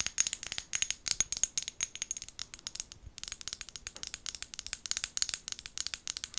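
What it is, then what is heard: Glass bottle tapped and scratched with fingernails. Long gold nails tap and scratch the sides of a small amber glass bottle with a white plastic lid, held in both hands. Dozens of rapid, bright, clicky taps with a light scratching texture follow one another quickly, pausing briefly near the middle. The sound is thin and high with almost no low end, and each tap dies away instantly.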